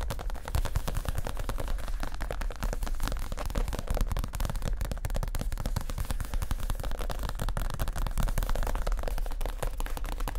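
Fingertips of both hands tap fast on a soft, stuffed white leather (possibly faux) padded chair cushion. A dense, steady patter of short, dull, low thumps runs through the whole clip, each dying away almost at once with little high-end brightness.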